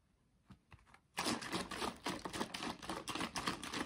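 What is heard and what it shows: A tall yellow laminated paperboard carton filled with liquid is held and shaken by hand. Three faint taps come first, then at about one second a loud, thick sloshing starts and keeps going in quick, uneven surges, bright and broad without much low rumble.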